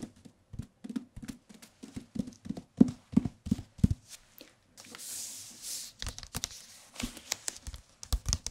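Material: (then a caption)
Paper. A white and dark green softcover paperback is held in the hands and tapped on its cover with the fingertips, giving a rapid series of short, dull, low thumps that die away almost instantly. Midway the tapping pauses for a soft, bright rustling hiss before the quick taps resume.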